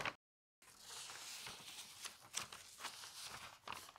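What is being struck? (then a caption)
Newsprint newspaper page. Fingers with long nails lift a page of newsprint newspaper lying on a table and turn it, crinkling the paper. After a brief cut to silence near the start, a steady, bright, dry rustle continues, broken by several sharper crackles as the page moves.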